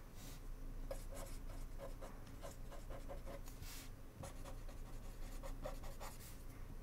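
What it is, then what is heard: Pen writing on a paper index card. A blue ballpoint pen tip scratches across a small, flat white paper index card held by fingertips on a wooden desk while writing. Quiet, uneven scratchy strokes come in quick bursts with brief bright rasps, over a steady low rumble.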